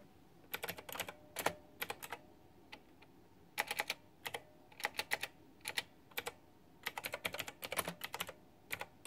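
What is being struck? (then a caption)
Plastic mechanical keyboard with round keycaps. Fingertips and long nails type on a white backlit plastic retro mechanical keyboard with round typewriter-style plastic keycaps. Quick bursts of sharp, bright clacks are broken by short pauses. Each keystroke dies away almost at once against a quiet background.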